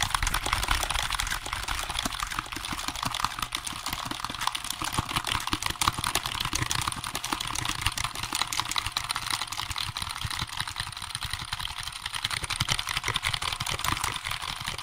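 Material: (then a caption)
Plastic. Fingertips rapidly press and tap the keys of a hollow, black plastic wireless computer keyboard held up in front of the microphone. The result is a fast, irregular stream of short, bright plastic clicks and clacks that continues steadily for about 15 seconds.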